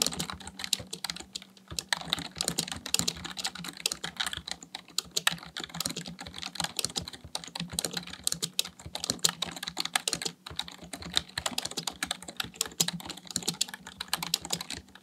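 Fingertips type rapidly on a full-size black plastic computer keyboard, producing a fast, continuous stream of short, bright clicks and clacks. Each keystroke is crisp and dies away almost instantly, with a faint steady low hum underneath.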